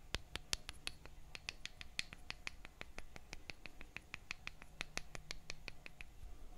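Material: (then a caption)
Wood. A small wooden mallet taps a thin solid wooden stick, both held in the hands, in a steady run of light knocks. Each knock is short and dry with a bright click, over a quiet low background hum.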